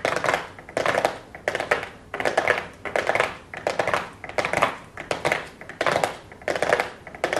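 Long blue acrylic nails tap and scratch a small, flat, hollow cardboard makeup box covered in gold foil and labelled "golden." The result is a steady run of short bursts of rapid, crisp clicking and scratching that is mostly mid-range and bright, with almost no low end. Each burst rises quickly and fades before the next begins.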